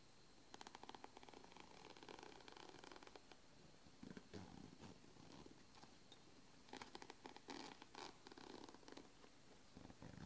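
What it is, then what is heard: Nylon fabric backpack. Fingertips and long nails scratch and tap the front mesh and straps of a medium red and grey nylon backpack, closed and lying on a padded board, and fiddle with its zipper pull. Quiet, dry scratchy bursts and soft papery taps come in clusters over a low, steady rumble, with brighter rustling flurries near the middle and end.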